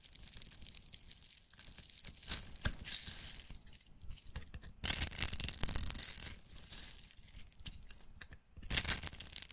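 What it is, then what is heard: Soap bar being shaved with a knife. A knife blade scrapes along the top edge of a solid, hand-sized, pink striped soap bar held in the hand, shaving off pink crumbs. The result is dry, bright, scratchy rasping in uneven bursts, loudest in a long sustained stroke midway through and another near the end.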